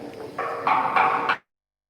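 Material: Metal.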